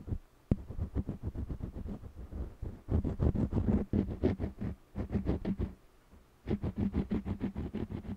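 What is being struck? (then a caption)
Wax crayon on stretched cotton canvas. An orange jumbo wax crayon scratches across the lower part of a small stretched cotton canvas panel held steady by one hand. It makes quick, rhythmic back-and-forth scraping strokes with a low, papery rasp around 200 Hz, in bursts separated by brief pauses.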